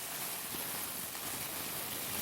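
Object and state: Nothing is struck.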